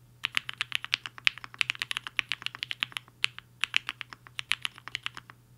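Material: Plastic.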